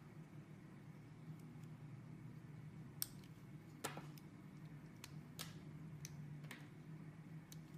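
A small metal blade carves and scrapes into a solid blue soap block with pressed flower shapes, held in hands with red painted nails, curling the soap off in shavings. Short, crisp, bright scraping clicks cut through a quiet, steady low hum. The cuts come as separate quick strokes that stop almost instantly.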